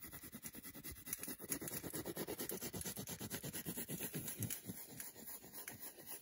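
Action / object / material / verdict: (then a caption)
scrape / milk chocolate bar / chocolate / none. Long nails rapidly scratch the back and the segmented front of a solid milk chocolate bar held in the hand. A quick run of about 26 fairly uneven, dry scraping strokes is heard, each with a soft low-mid body and a bright hiss on top, dying away almost at once.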